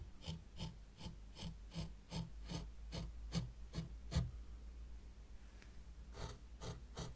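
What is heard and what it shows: A white plastic rake, held by long-nailed fingers, is dragged back and forth through fine sand in a small hexagonal zen garden tray. It makes a steady series of soft, grainy scraping strokes, each a brief bright rasp over a low rumble. The strokes pause for about a second and a half before a few more follow.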